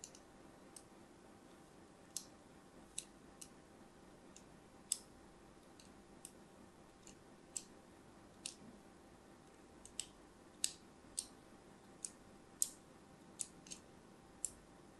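A thin craft blade scores diagonal lines into the surface of a solid, palm-sized orange-and-white striped soap bar held in the hand. Twenty-two short, crisp, bright clicks and scratches come at irregular intervals over a quiet, steady background hiss. Each click ends almost instantly.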